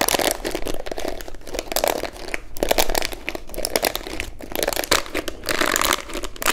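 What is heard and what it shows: Long manicured nails scratch across the dense plastic bristles of a hand-sized pink plastic paddle detangling hairbrush held in both hands. The result is a steady stream of dry, crinkly scratching with bright, crackling texture, swelling and easing in short bursts.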